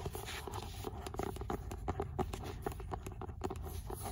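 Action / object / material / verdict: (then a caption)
tap / paperback book with paper cover / paper / none. Long nails tap and scratch the beige paper cover and spine of an old paperback copy of Sartre's "L'imaginaire" held in hand. The result is a quick, dry patter of soft clicks and scrapes over a low background rumble.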